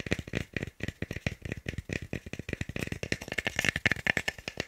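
A small, solid, pale wooden cube is held in both hands, partly behind the microphone, and tapped and knocked quickly with the fingertips. About thirty dry, hollow clicks follow one another in a fast, uneven rhythm. Each knock stops almost at once, with a woody tone near 1.8 kHz and some high, bright click on top.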